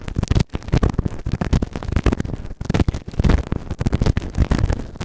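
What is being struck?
Silicone ear-shaped microphone scraped with a plastic spatula.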